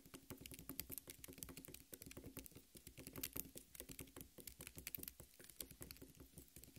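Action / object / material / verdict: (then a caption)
tap / cut half of a watermelon, tapped on the flesh / watermelon flesh / none. Long red nails rapidly tap and patter on the red flesh of a half watermelon. The result is a dense, continuous run of quick, soft, moist taps, each a dull low thud with a bright clicky edge. Every tap dies away almost instantly, and the overall level stays quiet and steady.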